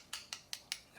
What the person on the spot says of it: It sounds plastic and it feels plastic to me